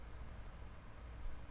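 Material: Nothing is struck.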